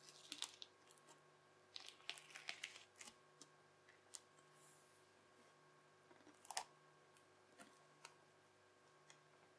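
Teal, bubbly crunchy slime is folded over and pressed with the edge of a yellow plastic knife on a white table. Quiet, bright crackles and sharp little pops come in scattered bursts, with one louder snap near the middle. A faint steady hum runs underneath throughout.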